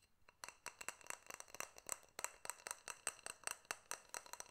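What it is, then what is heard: Glass jar with metal lid. Fingernails tap and clink rapidly on a small, hollow, clear glass jar and its silver metal lid, held close to the microphone. The strikes come as about 22 sharp, bright clicks with an unsteady rhythm and almost no ring, with a high, glassy ping on some taps.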